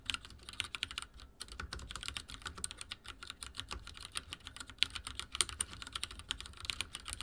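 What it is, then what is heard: Mechanical keyboard with plastic keycaps. Fingertips type quickly on a backlit mechanical keyboard with dark plastic keycaps. A dense, steady stream of sharp, bright key clicks and taps comes through with very short decay and little low end.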